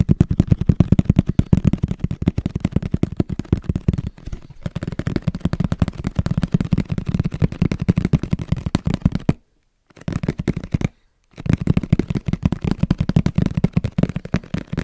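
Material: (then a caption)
Cardboard. Fingers tap quickly on the face and edge of a medium-sized, hollow black printed Sony camera cardboard box held close to the mic. The result is a dense run of dry, hollow, low thuds with almost no ring, broken by two brief silences before the tapping resumes.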